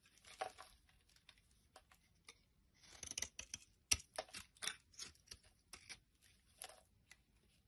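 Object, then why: Soap bar scraped with a knife. A knife blade scrapes across the end of a solid yellow soap bar held in the palm, carving it off in curls. About a dozen short, bright, crisp scraping strokes come at an uneven pace with quiet gaps between them. Each stroke has little low end and no ring.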